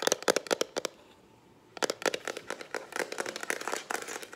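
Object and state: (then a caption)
Plastic instant camera body. Long acrylic nails tap fast on the plastic body of a lilac Instax instant camera, which is hollow and held in the hand. A quick burst of sharp, dry, bright clicks with a hollow midrange tone stops for about a second, then resumes as a denser, uneven run of rapid taps that die away instantly.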